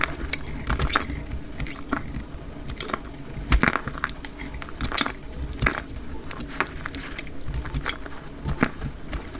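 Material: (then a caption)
Soap. A utility knife blade shaves curls off a solid, dry, oval orange-yellow soap bar held in the hand, with the action sped up twice as fast. Many short, crisp scraping and crackling cuts follow one another quickly over a low rumbling background, with bright edges on each stroke and a few louder cuts standing out.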